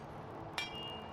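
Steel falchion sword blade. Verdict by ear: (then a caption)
Sound. A single knock on the steel blade of a Tod Cutler cleaver falchion reproduction (Elmslie Type F1a) produces a sharp strike. A clear, steady ring follows at about 2.35 kHz and fades over roughly half a second. The ring is not especially high, but its harmonics are good, showing a soundly mounted, solid hilt and correct mass distribution.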